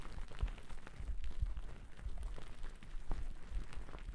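Two wooden-backed natural bristle brushes brush and scratch across a thick white cotton terry cloth towel draped over the microphone. The sound is a dense, muffled, low-heavy rustle with scattered soft thumps and brief brighter scratches throughout.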